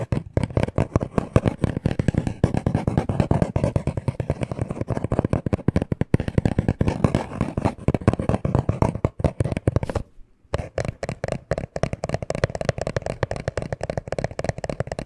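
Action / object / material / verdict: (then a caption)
tap / small cardboard box / cardboard / none. Short nails and fingertips tap rapidly on a small, hollow black cardboard necklace package. The taps are dense, dull and thuddy, mostly low with little brightness, and each dies away almost instantly. The tapping stops briefly just after ten seconds, then resumes.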